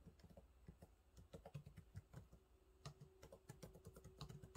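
Fingertips type on the low-profile plastic keys of a silver laptop keyboard, producing a quick, irregular run of soft, dry taps. Each tap is short and muffled, with most of its weight low and only a faint bright click on top, and a faint steady hum underneath in the second half.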